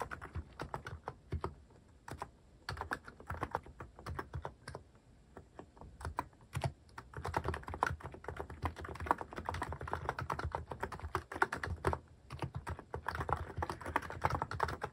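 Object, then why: Mechanical keyboard with plastic keycaps. Fingertips type on a cream mechanical keyboard fitted with sculpted plastic cat and paw keycaps. The result is a steady stream of short, dry clacks with a soft low thud under each bright click. The typing is sparse and halting at first, then grows denser, faster and louder from about seven seconds on.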